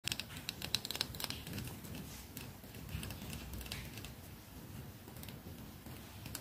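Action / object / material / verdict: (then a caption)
tap / lacquered wooden hairbrush / wood / none. Long fingernails tap the solid wooden body of a red lacquered wooden hairbrush with natural bristles, held in both hands just above a lavalier microphone. Sharp, bright clicks come in quick, irregular bursts, loudest and most distinct in the first second. They settle into a softer, continuous patter over a low, rumbling handling noise.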